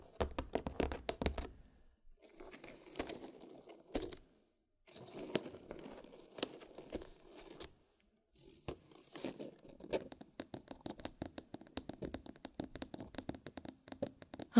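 Long pointed nails scratch across the lid of a white cardboard gift box with a red ribbon and a black button, and tap on it. Rapid, dry tapping clicks alternate with papery scratching strokes and short pauses, ending in a quick run of taps.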